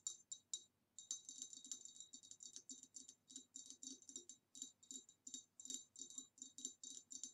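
Long dark nails tap quickly around the rim and the sides of the neck of a tall, hollow, empty green ribbed glass vase, about 25 cm, standing upright on a table. The result is a quiet, rapid run of bright, clicky glass ticks with almost no low end, each dying away almost instantly, with a brief pause near the start.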